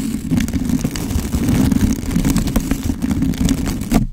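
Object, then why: Foam microphone windscreen scrubbed with a stiff plastic brush. A blue-and-white plastic scrub brush with stiff bristles is rubbed and scratched over a black foam windscreen on a handheld microphone. It makes a dense, continuous rumbling scratch, heavy in the low end with a steady hum-like tone near 210 Hz and brief brighter scraping streaks. The sound then cuts off abruptly just after four seconds.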